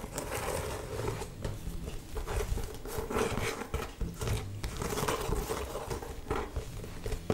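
Long painted nails tap and scratch the upper of an old, hollow, empty brown leather ankle boot held up in one hand. The result is a steady run of soft, dry crinkling scrapes broken by light taps that stop short, with a faint hum near 440 Hz beneath the scratching.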